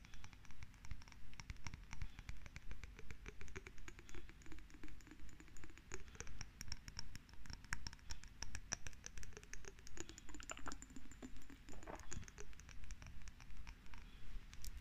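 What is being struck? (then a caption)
Small glass jar. Long red nails scratch and tap all over a small, hollow, lidless cylindrical glass jar with a bluish tint, held close. The result is a soft, steady rhythm of repeated scratching bursts with quick, bright clicky taps over a low rumble.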